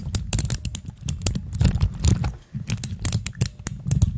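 Fingertips and long nails from both hands press, click and tap a pastel plastic keycap dome cluster sitting on clear mechanical switches. A rapid, uneven stream of short, dry clicks with a low thump beneath bright ticks, each dying out almost instantly, with a brief lull midway.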